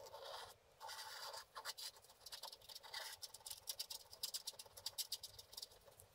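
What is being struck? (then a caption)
Wax-coated scratch art card scraped with a wooden stick. A wooden stick scratches the lower part free on a flat, wax-coated scratch art card lying on a table. The first second and a half brings long, steady scrapes, followed by a run of short, quick scratching strokes. The sound is dry and bright, with almost no low end.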